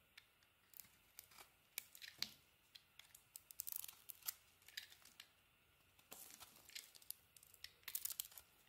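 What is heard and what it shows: A solid bar of soap with a dark green coating and a white interior is shaved and carved with a metal utility-knife blade while held in the hand. Quiet, bright scraping and crisp flaking strokes come in a steady series of short bursts, with small crackles and ticks between cuts and almost no low end.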